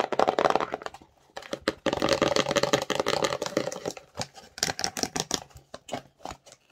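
Long nails tap and scratch the faces of a small, empty, glossy printed cardboard slime box held in the hands. A fast, irregular clatter of dry, hollow taps with a faint tone around 770 Hz gives way to dense scratching bursts, broken by a brief pause. It ends in sparser, separate, crisp taps.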